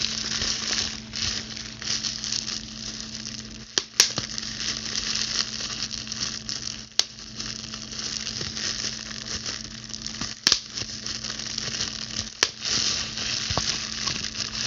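A clear plastic bubble wrap sheet is gripped in both hands while long blue acrylic nails scratch, pinch and pop its air bubbles. A steady, bright crinkling scratch runs throughout over a faint low hum, broken by several sharp, short pops as bubbles burst.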